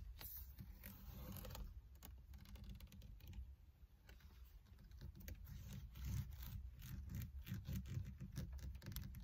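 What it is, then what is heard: Leather-wrapped steering wheel being gripped. Fingers with long red nails grip a black leather or faux-leather wrapped solid car steering wheel rim, making creaks. Quick, irregular creaks and taps run over a steady low rumble for the whole clip, growing a little louder toward the end.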